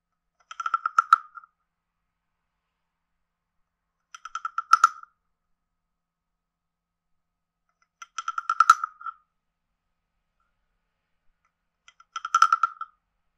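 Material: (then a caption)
Wood. A hand-sized carved hollow wooden frog guiro with a ridged back, held in one hand, is played with a wooden stick that scrapes the ridges and taps the body. Four separate bursts of quick, dry, woody clicks ring out, each a rapid ratcheting rasp. The tone is hollow, centered near 1.3 kHz with bright overtones, and silence falls between bursts.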